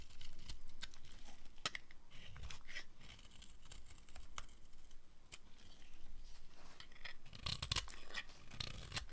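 A metal blade carves crumbly pieces off a blue-and-white striped dry bar of soap held in the hand. Dry, crisp scraping and crackling cuts repeat with bright, brittle edges over a low, muffled rumble. Flakes crumble and tear away with each stroke.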